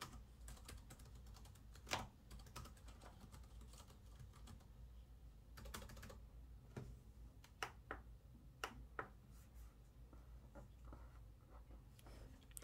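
Both hands type with their fingertips on the black plastic keys of an open laptop resting on a wooden table. The rapid, light key clicks come in quick irregular runs, with a few sharper, brighter taps standing out. A steady low hum sits underneath throughout.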